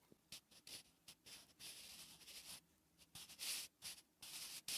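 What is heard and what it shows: A wooden graphite pencil writes Korean letters on a flat, solid lined paper notebook page. Short, irregular bursts of bright, dry scratching mark each stroke, with quiet gaps between them.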